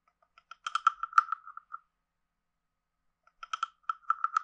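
A wooden stick is scraped along the ridged back of a hand-sized, hollow, carved wooden frog guiro. Two bursts of quick, dry, clicking rasps sound, each with a croak-like tone around 1.3 kHz and bright overtones, separated by about a second and a half of silence. The clicks are quiet and stop dead with no ring.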